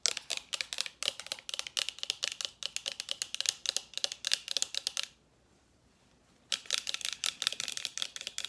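A small white plastic facial spray bottle with a pump top is held in both hands and tapped rapidly with long nails. The taps are sharp, bright clicks that die away almost instantly, running for about five seconds, pausing briefly, then resuming.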